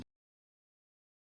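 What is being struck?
Nothing is struck.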